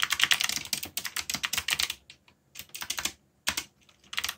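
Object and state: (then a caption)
Mechanical keyboard with plastic keycaps. Fingertips type on the plastic keycaps of a black backlit mechanical keyboard. Quick, bright, clicky keystrokes come in dense bursts, broken by two short pauses with only a few scattered taps. Each click is sharp and dies away almost instantly, with almost no low end.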